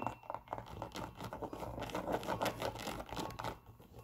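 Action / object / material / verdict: scrape / leather sneaker with rubber sole / leather / none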